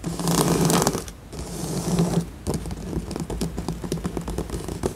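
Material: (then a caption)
Cardboard. Long acrylic nails on both hands scratch and tap across a large, flat, assembled cardboard jigsaw puzzle with a glossy printed tiger cartoon, lying solid and flat on a surface. Two swells of dry, rasping scratching, each with a faint low tone near 145 Hz, fade briefly between them. They give way to a quick, uneven run of short, crisp taps and scrapes.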